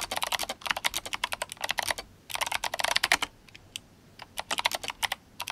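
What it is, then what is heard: Mechanical keyboard with clicky switches and plastic keycaps. Fingertips of both hands type fast on an RGB-backlit GMMK Compact mechanical keyboard with clicky Kailh Box White switches and plastic SA keycaps. Bright, crisp clicks come in rapid bursts, with short pauses near the two-second mark and between about three and a half and four seconds. Each keystroke is sharp and dies away almost instantly, with very little low end.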